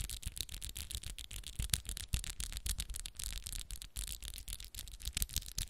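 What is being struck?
Acrylic fingernails.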